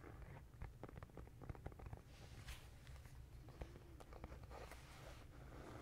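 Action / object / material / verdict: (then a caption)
tap / cardboard composition notebook / cardboard / none. A black-and-white marbled composition notebook with a hard cardboard cover and paper pages inside is held up in one hand while fingertips and nails tap and scratch its flat cover. Quiet, dry taps click in quick irregular runs over a steady low rumble, with brighter scratchy swishes in between. Each tap dies away almost instantly.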